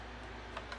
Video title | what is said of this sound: In the kitchen with Karen. ( making lemon bars) | You can tell by tapping on it. It's hollow sounded.